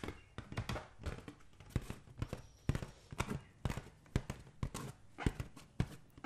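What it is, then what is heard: Water-filled rubber balloon. A green latex balloon filled with liquid is held in the hand and tapped with the fingertips, giving a quick, uneven series of soft, dull thumps over about six seconds. Each tap is short and deep, with almost no brightness and no ring after it.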